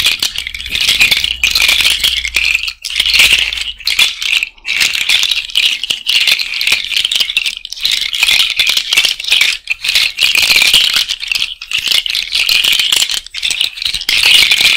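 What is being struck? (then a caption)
Cowrie shell bracelet. A cowrie shell bracelet is held above the mic and rattled between the fingers, with the nails clicking on the shells. The result is a dense, bright, continuous rattle of small clicks centred around 2.5 kHz, with almost no low end and brief dips between bursts.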